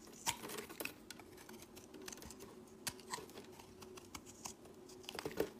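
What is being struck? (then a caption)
Bar of soap. A solid pale-green bar of soap held in the hand is shaved with a utility-knife blade, giving off crumbly shavings. Quiet, dry scraping clicks and crisp crackles come in quick, uneven bursts with a bright edge. A faint steady hum sits underneath.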